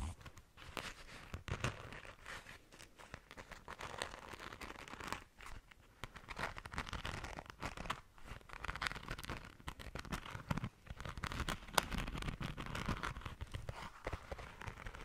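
Long nails scratch across the glitter surface of a small, soft, pink glitter-coated flat zipper pouch. The result is a quiet, continuous, dry rasping and crackling texture, made of dense clusters of tiny scratchy ticks with a bright fizzy edge over a soft low rustle, swelling and easing as the strokes move back and forth.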